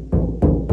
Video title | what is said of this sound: How To Fix Hollow Sounding Car Doors BFS ep. 3 | sounds like a piece of sheet metal